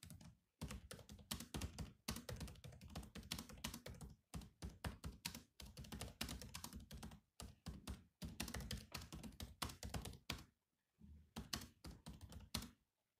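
Fingertips of both hands type quickly on the low-profile plastic chiclet keys of a grey metal-bodied laptop. Rapid bursts of clicky taps with a low, thunky body and bright edges are separated by short pauses. Each keystroke dies away almost instantly.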